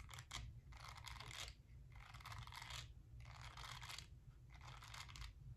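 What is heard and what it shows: A small round pink silicone face-cleansing brush, palm-sized with a bristled silicone face and a smooth pink back, is held in the hand while long nails scratch over its silicone bristles. Soft, bright, crackly scratching comes in four bursts over a steady low hum.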